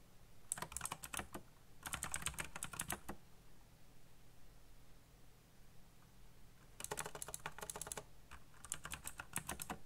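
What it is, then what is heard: Plastic mechanical keyboard. Fingertips type quickly on a backlit black plastic mechanical keyboard. Four bursts of rapid, bright, crisp key clacks are separated by short pauses. A steady low hum sits underneath.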